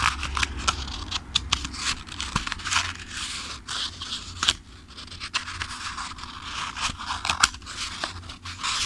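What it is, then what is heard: Paperback book, pages flipped. A thick-paper paperback book is held in one hand while fingertips riffle and flip its pages repeatedly. Bright, papery rustling is broken by quick, sharp page flicks, over a steady low hum.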